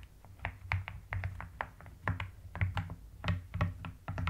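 Rapid typing on a full-size mechanical keyboard with pastel purple and white rounded plastic keycaps in a white plastic case, pressed with the long nails and fingertips of both hands. About twenty quick, distinct key presses each give a deep, muted thock with a short, bright clack on top. A steady low hum sits underneath.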